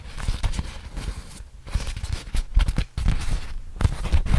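A large, crumpled, flat beeswax-coated cotton food wrap is held open in both hands while fingertips rub and crinkle the stiff waxed fabric. Irregular crinkles and scratchy rustles come with heavy low handling thumps, each dying away almost at once, with brief near-silent gaps between bursts.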